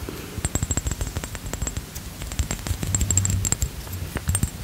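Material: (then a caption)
Glass. Short-nailed fingertips tap and scratch the sides of a rectangular clear glass Versace perfume bottle, partly filled with liquid, with an embossed medallion and a metal cap, held in both hands. A rapid, uneven series of crisp taps, each with a dull low thump, mixes with scratchy friction and faint bright glassy ringing that fades quickly.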